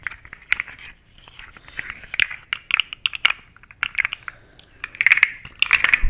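A long, rainbow-colored, segmented plastic fidget slug toy with hollow segments is held vertically and twisted and flexed by hand so its segments click. The result is a quick series of sharp, bright, crackly clicks and rattles centered around 2 kHz, arriving in uneven bursts with brief quiet gaps between them.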